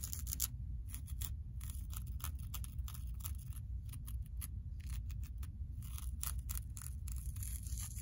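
Long acrylic nails scratch and rub across a multicolored, low-pile carpet tile of woven synthetic loops lying on a flat, solid floor. Quick, bright, dry scratching strokes come in rapid bursts over a steady low rumble that persists throughout the clip.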